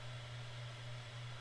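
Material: Nothing is struck.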